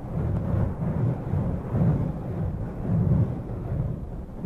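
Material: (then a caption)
Foam. Fingertips and long purple-painted nails cup, rub and lightly scratch both sides of a soft, hollow black foam windscreen on a Zoom recorder mic. The result is a dense, muffled low rumble with almost no high end, swelling and easing in slow waves as the hands move.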